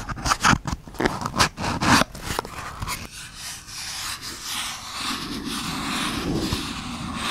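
Fingertips and nails tap and scratch the side of a small, empty, printed cardboard product box with its top flaps open, held in one hand close to the microphone. Quick, crisp taps and scratchy strokes come first, then settle into a steady, softer rubbing scratch.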